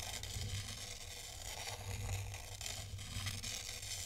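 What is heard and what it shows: A thin black stylus draws circles through a tray of fine white sand, scratching through the grains. A steady, crisp, gritty scrape with a bright hiss runs throughout over a low hum, swelling slightly with each pass of the stylus.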